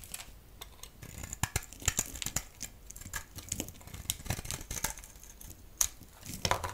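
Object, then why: Solid bar of soap. A solid striped bar soap, held in the hand, is scraped and shaved with a utility blade. Dry, crinkly scraping and shaving runs throughout, with many short, bright clicks and ticks and little low rumble beneath.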